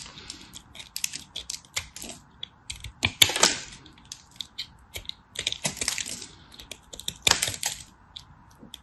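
A small remaining piece of dry, solid teal and white striped bar soap is cut with a craft knife held in a hand with long white nails. The crisp, bright scraping and cracking comes in a dense run of short clicks and crunches. Louder bursts of crumbling land around three and seven seconds.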